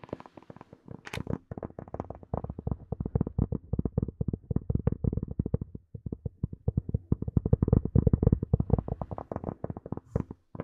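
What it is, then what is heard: Plastic earphone case. Long nails tap rapidly on the curved shell of a small, hollow, black hard plastic earphone case. The steady run of short, dry clicks has a hollow, low-heavy thud with almost no ring, broken by a brief pause midway. It builds to louder, denser tapping toward the end.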